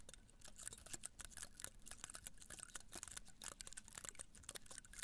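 Long nails scratch and flick the spines of a small cactus in a red-brown pot held beside the mic. A quick, uneven stream of dry, crisp ticks and scratchy clicks is heard, bright and very short, with a faint low rumble underneath.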